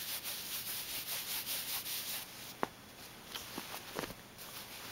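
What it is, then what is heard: Fabric bag rubbed. Fingertips rub and scratch across the ribbed surface of a soft, black, hollow, medium-sized velvet or corduroy-textured clutch purse. Quick rhythmic strokes give a bright, hissing rustle for about two seconds. It then drops to a quieter scratching broken by two sharp scratches.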